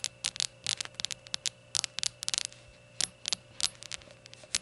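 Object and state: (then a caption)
Glazed ceramic shot glass tapped with nails. Long nails tap the glazed sides of a small, hollow, empty rainbow ceramic shot glass standing on a towel. The result is quick bursts of bright, high-pitched clicks that stop dead with no ring, over a faint steady hum.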